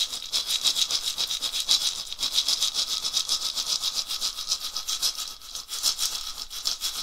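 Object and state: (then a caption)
Dried gourd rattle. A hollow, carved, dried gourd rattle on a wooden handle is shaken back and forth by one hand. It makes a steady, fast, bright rattling hiss, with loose bursts of seeds swishing at each swing and almost no low end.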